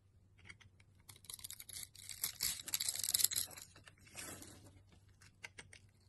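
A utility knife blade slices grid-scored cubes off the surface of a solid, dry green bar of soap held in the hand. Quiet, crisp, bright scraping and crumbly crackling come in irregular short bursts, swelling into a denser, louder stretch of cutting in the middle before thinning out to scattered clicks.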